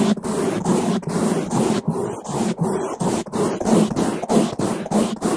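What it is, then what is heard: Foam microphone windscreen brushed. Two bamboo toothbrushes, one with white bristles and one with blue, held in gloved hands, scratch and rub fast across both sides and the top of a black foam microphone windscreen. The result is a dense, muffled, low-mid rasp in quick repeated strokes, about one and a half per second, with brief dips between them and little bright content.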